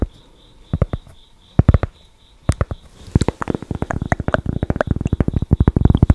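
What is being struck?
Thick cork board tapped with fingernails.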